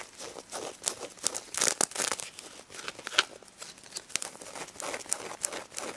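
Long red nails scratch across the pink sequin surface of a stuffed plush pig toy, flipping the sequins over. A dense run of bright, crinkly scratches and clicks rises and falls in quick bursts, each one dying away almost instantly.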